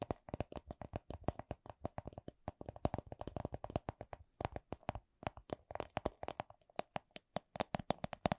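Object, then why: Small clear plastic coin purse. Long acrylic nails tap on a small, hollow, clear plastic coin purse with a printed bunny design. The result is a rapid run of short, dry clicks that vary slightly in loudness, with a hollow plastic tone around the mid range and almost no ring. There are brief pauses near 2.4 and 5 seconds.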